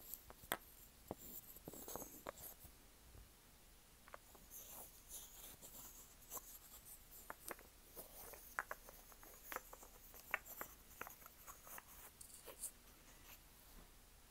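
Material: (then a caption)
Wood. A small, solid interlocking puzzle of light-brown wooden pieces is held in the hands while fingertips and nails scratch and tap its surfaces. The result is quiet, dry scratching with sharp, short clicks and taps scattered throughout, bright with crisp high detail and little low end.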